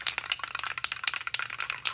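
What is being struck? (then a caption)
Metal spray paint can with mixing ball. A metal spray paint can, a Rattler, is shaken before use, and its agitator ball knocks inside to mix the paint. The result is a fast, bright metallic rattle of about 13 sharp clicks with almost no low end.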